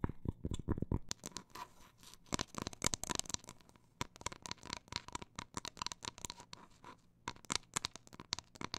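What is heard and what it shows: The printed paper face on the back of a round cork coaster, showing text and a sand dollar, is held flat in both hands and scratched and tapped with long black nails. Dozens of sharp, dry taps come in an uneven mix of fast and slow bursts, with rough, bright scratching between them. Each tap stops almost instantly with no ring.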